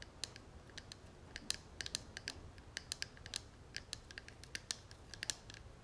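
An open, hollow gold metal cigarette case is held in both hands while fingernails tap and scratch its dotted metal lid and edges. Quick, bright metallic ticks with a short high ring come in an irregular stream over a faint scratchy hiss. The taps are quiet and clipped, dying away almost instantly.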